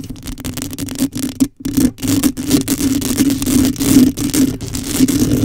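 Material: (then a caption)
Metal mesh. Long acrylic nails on both hands scratch and rake the hollow woven metal mesh grille head of a black condenser microphone with no foam cover. The result is a dense, crackling, scraping rustle over a steady low tonal drone, broken by brief silent gaps near the start.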